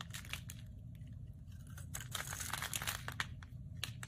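A metal utility blade scrapes and cuts thin slivers from the edge of a solid, palm-sized, rectangular white bar soap held in the hand. Crisp, dry crackling and crunchy scraping bursts repeat irregularly over a steady low rumble, growing denser and louder in the second half.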